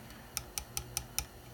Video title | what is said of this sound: Gluing down the fret ends | if you hear a noise you'll know that one fret is high